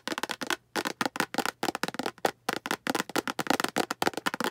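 A translucent green hollow plastic storage box is held up and tapped with long green acrylic nails. About twenty quick, dry clicks with a hollow midrange tone come in rapid bursts with short pauses between. Each tap dies away almost at once.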